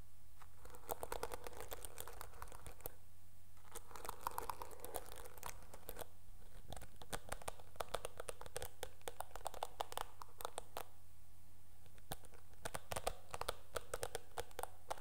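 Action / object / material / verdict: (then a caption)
scrape / plastic hairbrush bristles / plastic / none. Long nails scratch the dark bristles of a teal plastic hairbrush, making dense, rapid crinkly clicks and scratching with a mid-range body and bright, sharp ticks. The sound comes in bursts with brief pauses over a steady low hum, staying quiet and close throughout.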